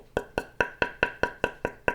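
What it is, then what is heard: Table tennis blade, knock tone for comparison. A Butterfly King table tennis blade is tapped nine times in an even rhythm, for comparison with the first blade's knock sound. Each tap is a short, dry, woody knock with a bright tone near 1.5 kHz that dies away almost at once.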